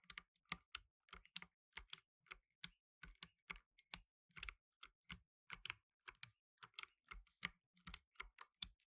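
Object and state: Plastic mechanical keyboard.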